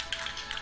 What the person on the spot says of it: shake the can well you hear the BB bouncing around in there